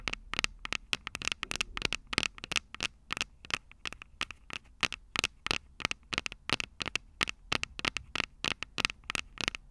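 Long purple acrylic nails on both hands tap and scratch the two small cylindrical metal-grille microphone capsules on top of a Tascam DR-05 handheld recorder standing upright. The result is a rapid, irregular stream of sharp, dry, bright clicks and brief scratches with almost no low end and no ring, set against a faint low background hiss.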